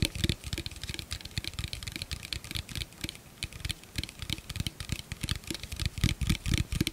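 An empty, hollow clear plastic blender cup is held in both hands and tapped and scratched with the fingertips and nails. Rapid, irregular taps give dull, low hollow thumps, layered with bright, crisp clicks and scratchy noise that stop almost instantly, with a denser, louder flurry near the end.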